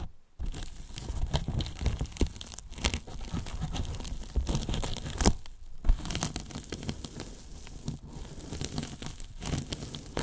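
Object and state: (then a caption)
Polyethylene foam box being peeled and rubbed. Fingers peel and rub a foam layer on the top edge of a large, hollow, white polyethylene foam box. The result is a steady, crinkly tearing with scattered sharp crackles over a dense low rumble, after a brief near-silence at the start.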